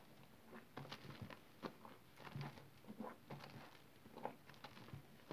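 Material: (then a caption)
Soap. Hands push into a blue basin filled with smooth, wet green soap paste, then pull and squeeze up a mass of the soggy, mushy soap. Soft, wet squelching and sticky popping sounds come in short bursts over a quiet background.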